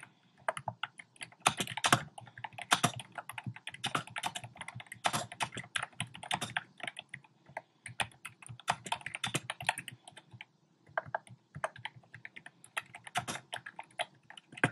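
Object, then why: Plastic mechanical keyboard. Fingertips type quickly on a compact plastic mechanical keyboard with round pastel plastic keycaps set in a dark frame. A dense, uneven stream of short, crisp clacks with bright edges dies away almost instantly, with occasional louder bursts of keystrokes.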